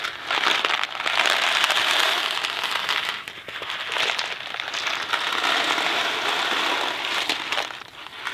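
A Kraft macaroni and cheese cardboard box full of dry pasta is held in hand, shaken and tilted. This makes a dense, bright rattling and crackling of pasta tumbling inside. The sound swells and eases in waves, dipping briefly around the third second and again near the end.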